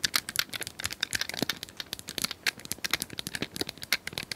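Long nails tap rapidly on a small hand-held plastic cylindrical puzzle toy with colored square tiles, apparently hollow and held in both hands. About thirty quick, bright clicks with very little low end die away almost instantly, giving a crisp, uneven rattle much like fast typing.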